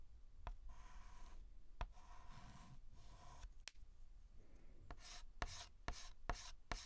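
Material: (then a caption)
Chalk. A white chalk stick is rubbed and scratched across a large flat blackboard, making soft gritty strokes with a faint squeaky tone, broken by nine sharp taps. In the second half, the strokes become quicker, brighter and harsher.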